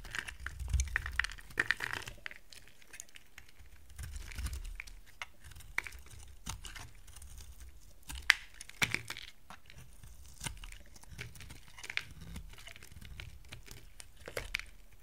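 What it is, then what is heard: Dry soap bar being carved. A utility knife blade carves a solid, dry yellow soap bar into dry curls. Crisp scraping and crunchy, crinkling crackles sound throughout, with short sharp clicks and bright ticks over a faint low rumble. Each cut stops dead with no ring.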